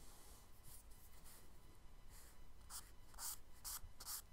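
A charcoal stick is dragged and rubbed across a flat brown kraft paper sketchbook page in shading strokes. It makes quiet, dry, scratchy bursts with a bright hiss, which grow a little stronger toward the end, over a faint low background rumble.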